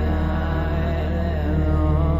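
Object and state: Nothing is struck.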